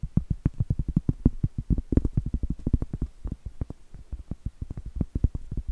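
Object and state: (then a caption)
Cork trivet. Medium acrylic nails tap and scratch on a round, flat, solid cork trivet board. A rapid, uneven string of dull, low, muffled thumps follows, each dying almost instantly with no ring. Faint soft scraping sits between the taps.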